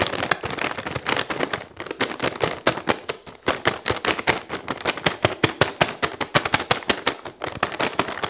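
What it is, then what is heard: Plastic pouch of Epsom salt. Fingertips with painted nails crinkle and squeeze a medium, flexible, printed plastic pouch of Dr Teal's Epsom salt, filled with salt and held against the body. The result is a rapid, dense run of sharp, bright crackles and rustles with very little low end, each snap dying away almost instantly.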